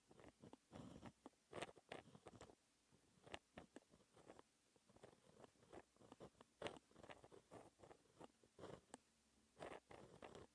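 A white gel pen held in the fingertips scratches across a flat sheet of black lined textured paper while writing math equations. Short, dry scratching strokes come in irregular bursts with brief pauses between them, over a quiet background.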